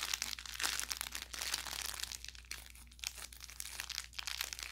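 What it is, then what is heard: Plush toy with crinkle filling. An orange velour plush carrot cat toy with crinkle filling is held in both hands and squeezed and rubbed with the fingers and thumb. It gives off a steady run of bright, dry crinkling and crackling with quick pops and almost no ring. A faint low hum sits underneath throughout.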